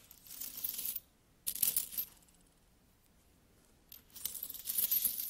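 Solid metal coins are added one by one to a palm, clinking and rattling against each other in bright, high jingles. The clinks come in three busy bursts with a near-silent pause between the second and third.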